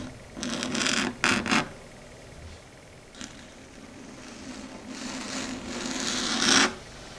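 Long red stiletto nails tap and scratch across a flat, solid, dark grey chalkboard surface. Two quick bursts of bright, rasping scratches open the clip, followed by a faint single tap. A longer scrape then swells to its loudest point before cutting off abruptly.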